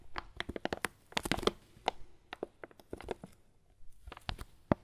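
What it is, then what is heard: Foil coffee bag filled with beans. A foil coffee bag filled with beans is squeezed and crinkled by hand. Quick, sharp crackles and crunches come in bursts, with a dense cluster early on and short quiet gaps between. The crisp crinkles have a bright top and a soft rustle of shifting beans underneath.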